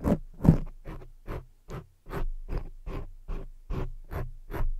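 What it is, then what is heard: Foam microphone windscreen scratched with nails. Long jeweled fake nails scratch along the sides of a soft, porous black foam microphone windscreen in a steady series of separate strokes. Each stroke is a short, muffled, scratchy rustle that is heavy in low rumble, with a faint brighter hiss, and fades quickly before the next.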